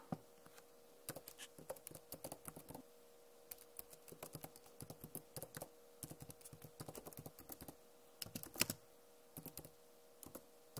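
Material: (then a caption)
Plastic. Long nails tap on the plastic keycaps of a backlit Acer laptop keyboard. The result is quick, bright, clicky taps in irregular bursts with short pauses between them. A faint steady hum runs underneath.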